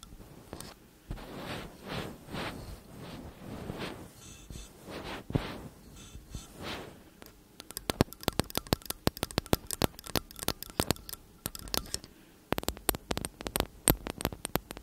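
Fingers wrap the casings of two slim cylindrical metal condenser microphones while long nails tap and scratch their metal tops and sides. The first half is soft, rhythmic swishing scrapes with a low rumble. It then shifts to a rapid run of sharp, bright nail taps on the metal, with a brief pause before the tapping resumes.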